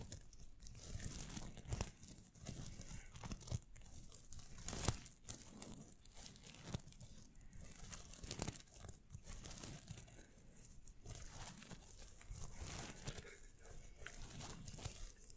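Fingertips and nails scratch and brush across the sequins of a large, soft, filled pillow covered in red and silver sequins. The result is a steady, dense, crinkly rustle with bright, tearing-like scrapes over a soft, low rumble. A few sharper swipes stand out, especially near the middle.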